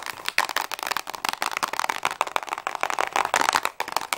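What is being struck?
Small cardboard box of crayons.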